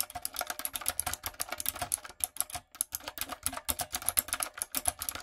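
A light-up, typewriter-style retro mechanical keyboard with round plastic keycaps is typed on quickly with fingertips and long nails. It makes a steady run of sharp, bright clicks and clacks with brief pauses, and each keystroke stops short with almost no ring.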